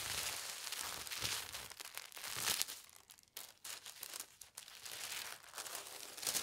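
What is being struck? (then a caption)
Thin tissue paper sheet. A thin white tissue paper sheet is smoothed, lifted, folded in half, then pressed flat by hands with long red nails. The sound is a steady, bright crinkling rustle with almost no low end, swelling and fading as the paper is handled, with brief near-silent pauses midway before the crackling resumes.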